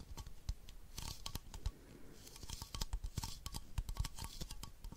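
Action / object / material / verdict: tap / plastic baby bottle / plastic / none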